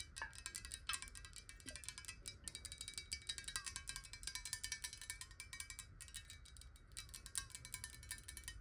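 A clear, hollow, square glass water bottle, partly filled with water and tilted in the hand, is tapped rapidly with long nails. The taps make a dense stream of quick, bright, glassy clicks with short chime-like rings around 1.6 kHz, over a faint low rumble.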